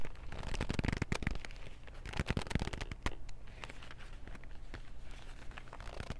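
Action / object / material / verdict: tap / cardboard box of wooden pencils / cardboard / none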